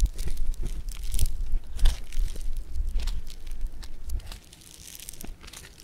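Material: Polystyrene beads.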